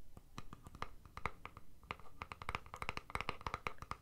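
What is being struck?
Plastic deodorant stick container.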